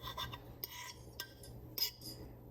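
A fork cuts through the pastry crust of a steak and Guinness pie, making short, bright, crackly crunches over a faint low hum. The crunch shows the crust is crisp, flaky and baked through.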